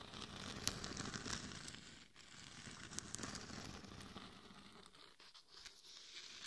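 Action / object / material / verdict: scrape / glitter-coated plastic mannequin head / plastic, glitter / none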